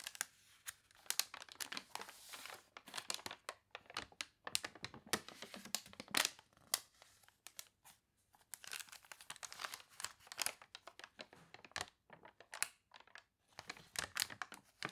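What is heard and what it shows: Long dark nails and fingertips scratch and tap the water-wavy pages of an open, thick, glossy paper toy catalog lying flat on a table, and hands turn the pages. The result is a quiet, bright stream of crisp crinkling and tearing-like paper rustles with short sharp ticks, little low end, and brief pauses between bursts.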